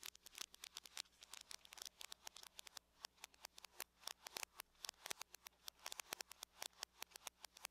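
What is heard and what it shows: Long nails of both hands tap densely on the lid of a closed, hollow silver aluminum laptop. The quiet, rapid, overlapping clicks are sharp and bright and die away almost instantly. A faint, steady low hum sits underneath.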